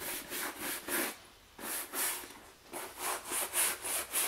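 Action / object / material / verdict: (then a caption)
scrape / leather shoulder bag brushed with a bristle brush / leather / none. A wooden-backed bristle brush held in the hand is rubbed back and forth over the front panel of a medium, soft black leather shoulder bag resting on a wooden chair. The result is a run of quick, bright, hissing scratchy strokes that come in bursts. Two brief quieter pauses break up the strokes.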